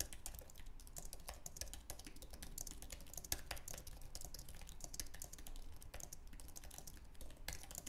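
Fingertips type fast on the plastic keys of a white, low-profile, wireless Apple Magic Keyboard with an aluminum base. A rapid, continuous stream of short, dry clicks and taps with bright, crisp edges rides over a steady low rumble.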